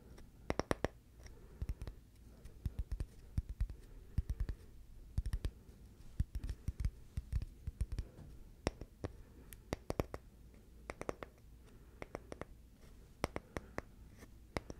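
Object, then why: Small flat oval piece of wood. A small, flat, solid, palm-sized oval of light wood is scratched and tapped with the fingernails. Sharp, dry clicks arrive in irregular clusters over a soft, steady low scratching hum. Each tap dies away almost instantly.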